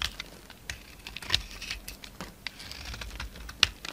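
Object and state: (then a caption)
Bar of soap being shaved. A utility knife blade shaves crumbly chunks and flakes off a solid bar of soap, now mostly white, held in the palm. The result is a quiet series of short, crisp, bright scraping and crackling sounds, with a few sharper snaps standing out.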